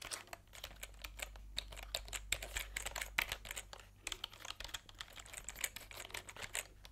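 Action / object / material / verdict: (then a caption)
tap / plastic computer keyboard keys / plastic / none. Fingertips type quickly on a plastic computer keyboard with round plastic keycaps, held diagonally. Short, bright, clicky taps come in a steady run with no ring, over a faint low hum.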